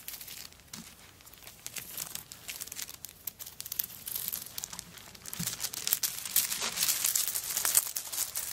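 Long nails scratch across a handbag covered in coconut shell chips with a wooden bead handle, and then the bag is lifted by its handle and shaken. The result is a dense, bright, dry crackle of rapid scratchy clicks that grows louder and busier toward the end.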